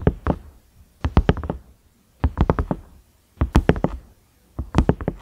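Fingertips knock and tap the round knob of a large, cream, ridged silicone microwave lid. Five quick bursts of several dull, low taps each are heard, with short pauses between them. The taps are soft and deep, and each one dies away almost at once.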